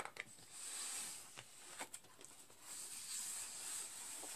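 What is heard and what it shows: Fingertips and nails scratch and tap the clear plastic window and edges of a full, rectangular cardboard box of candy canes lying flat on a green cloth. Quiet, bright, hissy scratching swells and fades, broken by a few crisp, dry taps that die away instantly.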